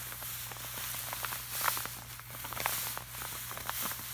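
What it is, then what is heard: Laminated poster. Fingertips of both hands tap and rub across the surface of a flat, glossy laminated art print. Quiet, dry taps mix with a bright, hissy rubbing, over a steady low hum.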